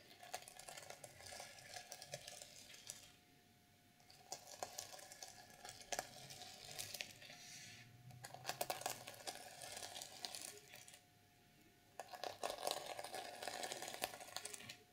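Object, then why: Plastic sequins on a fabric journal cover. Long purple nails brush and flip the reversible black and silver plastic sequins on the fabric cover of an unwrapped, notebook-sized journal. The result is a bright, dry crackling and scratching with quick clicky rattles. It comes in dense bursts, broken by two short, quiet pauses.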